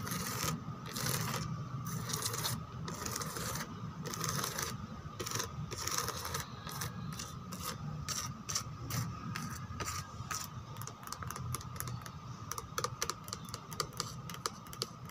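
Long teal nails quickly scratch and tap across the back of a white molded plastic chair, moving over its rose relief pattern, its lattice cutouts and its smooth rim. Rapid, bright rasping bursts come first, then give way to quicker, sharper taps toward the end. A steady tone near 1.2 kHz and a low rumble run beneath throughout.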